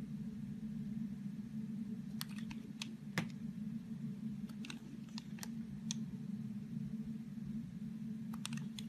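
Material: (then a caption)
Soap. Thin slices are shaved off the edge of a solid green soap bar with a utility knife blade. Short, crisp scraping clicks come in scattered clusters, one a bit louder than the rest, over a steady low hum.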